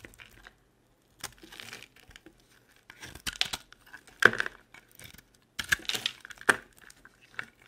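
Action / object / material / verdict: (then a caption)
scrape / bar of soap / soap / none. A utility knife blade shaves and scrapes dry chips off a solid, perforated orange bar soap held in the palm. The result is bursts of crisp, crumbly scraping and crackling with sharp, bright clicks, separated by short quiet gaps.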